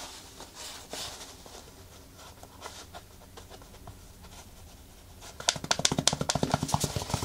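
Long nails scratch and tap across the knit mesh of a black knit textile sneaker upper with laces, the hollow shoe held in the hands. Soft, dry scratching with bright, papery texture runs quietly for about five seconds. It then gives way to a quicker, louder series of about eleven short, crisp taps with almost no ring.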